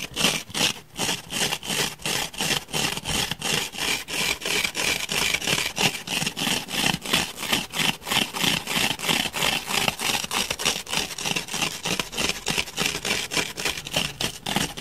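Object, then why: Grey open-cell foam block. Fingernails dig and scratch into the surface of a solid grey open-cell foam block held in the hand. Rapid, fairly steady strokes of bright, dry scratching repeat about three times per second throughout. The scratching leaves pits and crumbs in the foam.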